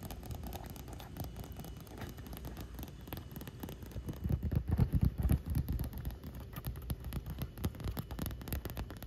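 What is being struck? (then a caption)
Inflatable vinyl pool ring. A large, hollow, air-filled pink inflatable vinyl pool ring with a wet surface floats on pool water as long nails tap and scratch its taut vinyl. The result is a dense patter of quick, dull, low thumps with soft scratchy texture. The sound is steady at first and grows louder and busier in the middle before easing off.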